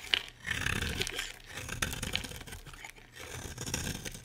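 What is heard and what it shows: A solid green rectangular bar of soap is held in the hand and scraped with a utility knife blade, flakes falling off. Dry, bright scraping and crunching strokes come in uneven bursts with brief pauses, with no ringing after each stroke.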